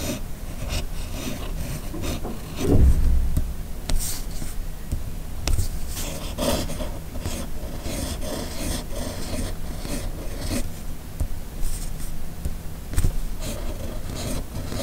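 A hand-held red fountain pen with a steel nib scratches across a flat white paper sheet while writing cursive. The result is a steady, soft, low rasping rub, broken by a few louder, brighter scratchy strokes.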